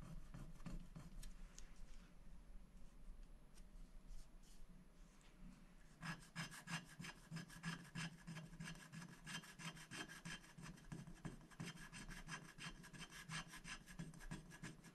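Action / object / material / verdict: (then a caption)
scrape / black-coated paper scratch-art sheet scratched with a wooden stick / coated paper / none. A wooden stick scratches the black coating off a thin, flat scratch-art sticker sheet lying on a glass board, in short strokes. Light, scattered scratches for the first six seconds give way to a dense run of quick, dry, raspy strokes with a bright edge, over a steady low hum.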